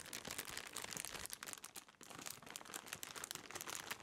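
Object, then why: Thin plastic bread bag. A clear, thin plastic bread bag partly holding a loaf is squeezed and crinkled in the hands close to the microphone. It gives a steady run of bright, dense crumpling and crinkling with many quick crackles, briefly easing off near the middle before picking up again.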